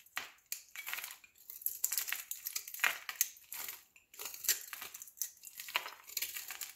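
A metal utility knife blade shaves and scrapes thin flakes off the surface of a solid rectangular green soap bar held in the palm. Quick, crisp, crunchy scraping strokes follow one another rapidly, bright and hissy with almost no low end, each stopping dead with no ring.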